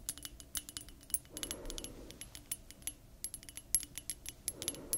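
Long nails tap and scratch a small clear glass perfume bottle with a thick neck and a metal ring detail, held in both hands. Rapid, bright clicking taps with very short ring are interrupted by brief patches of softer scratching.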